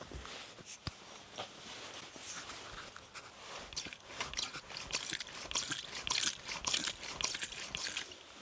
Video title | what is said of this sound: Bicycle Workshop Tales #05 | You hear the oil squeaking, sloshing around in the fork. So both of the legs are the same.